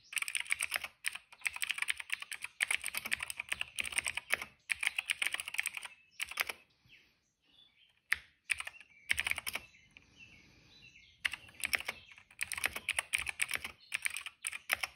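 Fingertips type on a retro-style plastic mechanical keyboard with a cream hollow case and dark and purple plastic keycaps, resting on a rug. Bursts of bright, clicky keystrokes come in quick runs with short pauses, and a quieter stretch in the middle carries faint, sparse taps.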